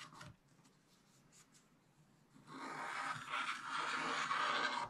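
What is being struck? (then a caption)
Black-coated scratch-art paper page scraped with a wooden stylus. A wooden stylus scratches the remaining black coating on a scratch-art page in a spiral-bound book, working near the monkey and the top of the page. A brief scratch opens the clip, followed by about two seconds of near quiet. Then a louder, steady, dry scraping runs to the end, strongest in the midrange with a bright, hissy edge.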